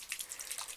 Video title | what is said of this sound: The Ordinary Review - Coverage vs Serum Foundation - Michelle Booth | I'm going to shake it first. Oh, it sounds very watery.